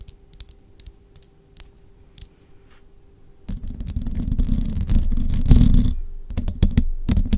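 Long jeweled nails on both hands tap the hollow metal mesh grille of a large microphone, making sparse, sharp, bright clicks. Midway the nails scratch across the grille, building into a dense, loud, low rumbling rasp. It then returns to scattered crisp taps.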